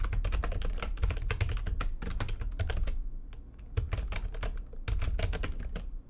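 Fingertips with long nails type fast on the keys of a full-size, low-profile, backlit plastic computer keyboard resting on a desk. A dense run of quick, sharp clicks sits over a heavy low thump, with a brief sparse stretch around the middle before the rapid typing resumes.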